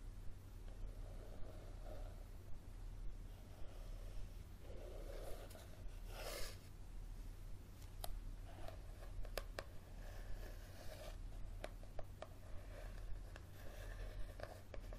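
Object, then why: Paperback book with soft card cover. Fingernails tap and scratch the cover of a solid yellow softcover paperback book held up in the hand. Quiet, dry, sharp taps are spread through the clip amid soft scratching swishes, over a steady low hum.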